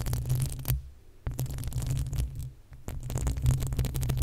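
Long acrylic nails of both hands scratch the uncovered, hollow metal mesh grille of a desktop condenser microphone. The result is a dense, booming rumble of scraping with crackly bright edges, heavy in the low end around a deep hum. It is continuous except for two brief near-silent pauses.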